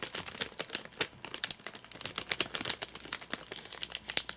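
Fingertips and short nails tap and scratch the top of a flat, sealed white plastic-film and paper-laminate nougat bar package with crimped edges, full of nougat bars and lying on a sofa. Quick, bright crinkling taps and scratches follow one another closely, each dying away almost instantly, with very little low end.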